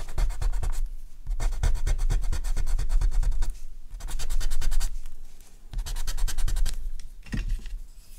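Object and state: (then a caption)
Charcoal pencil drawing on paper. A dark charcoal pencil held in the fingers scratches across a flat sheet of artist's paper on a table, drawing the muzzle and neck of a horse. Quick, dry, bright scratching strokes come in several bursts of rapid back-and-forth strokes, separated by brief quieter pauses.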